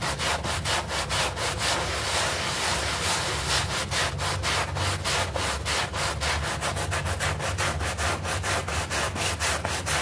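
A bristle brush scrubs a small, soapy, green artificial-grass synthetic turf doormat in fast strokes. The result is a rapid, scratchy, rasping brushing that repeats steadily across the whole clip, bright and hissy, over a constant low rumble.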